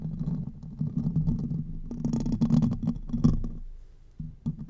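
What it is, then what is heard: Metal microphone grille scratched. Fingertips and short nails scratch and rub the top of the hollow metal mesh grille of a silver Blue Yeti-style condenser microphone, with the fingers at times spread over it. It makes a steady low, rumbly friction noise centered around 150 Hz, with denser, brighter scratching bursts in the middle. The sound then fades down before a few short rubs at the end.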